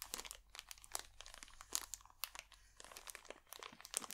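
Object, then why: Thin plastic bag wrapped over a small box. A thin wooden stick scratches and pokes at a clear, crinkly plastic bag wrapped loosely over the top of a small black box held in one hand. The result is a quiet, steady stream of bright, dry crinkling and crackling with sharp little ticks that stop at once, with almost no low end.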